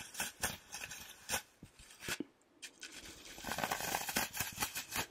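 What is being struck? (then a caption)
Green floral foam block. Fingertips and nails rub and scratch the surface of a rectangular, solid, porous green floral foam brick held in one hand close to the mic. Bright, dry scratching crackles come in short bursts, pause briefly around the middle, then build into denser, louder scraping toward the end.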